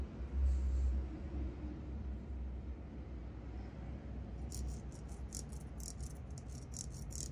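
A large, flat, wide-tooth comb of clear acrylic or plastic with silver glitter, solid and thin, is held in front of the microphone while fingertips and nails strum and flick its teeth. A steady low rumble fills the clip, and in the second half rapid, bright, crisp ticks of the teeth being flicked come through in quick succession.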